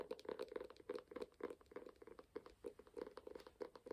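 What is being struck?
Closed hardcover book.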